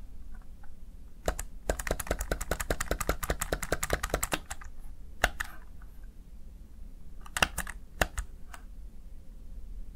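A small backlit plastic Razer Tartarus Chroma gaming keypad has its keys pressed and tapped by the fingertips and nails of one hand. A quick, steady run of sharp, bright plastic clicks is followed by a few scattered single taps. A low hum sits underneath throughout.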